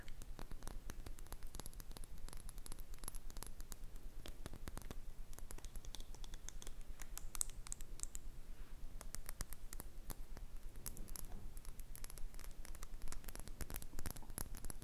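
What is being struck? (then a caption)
Small glass cosmetic bottle. Long red-painted nails tap and scratch a small, red, glossy glass cosmetic bottle that is hollow and apparently filled, possibly holding foundation or perfume. Quick, dry clicks and scratchy strokes come in a steady, dense patter over low background rumble, each tap dying away almost instantly.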